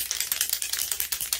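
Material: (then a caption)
Metal. A Punky Colour Platinum temporary hair color aerosol spray can is shaken well before spraying, giving about twelve quick, bright rattling clicks in steady rhythm. Each click is sharp and dies away almost instantly, with the contents audibly moving inside and no low-end weight.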